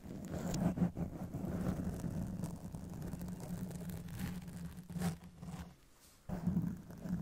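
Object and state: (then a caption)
Foam microphone windscreen being scratched. Long decorated acrylic nails slowly scratch and rub a black foam windscreen on a silver Blue Yeti microphone from both sides. The result is a dense, muffled rustling scrape weighted heavily in the low end, with a steady low tone underneath. It runs continuously, dips to near silence around the sixth second, then resumes.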